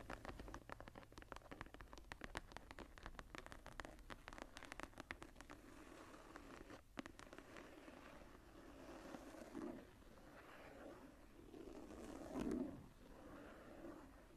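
Long nails and fingertips scratch and rub the cover and edges of a closed, tooled, embossed leather journal resting on a table. A dense run of quick, dry scratching clicks fills the first half, then gives way to softer, smoother rubbing strokes with a low-mid hum that swells in a few louder passes.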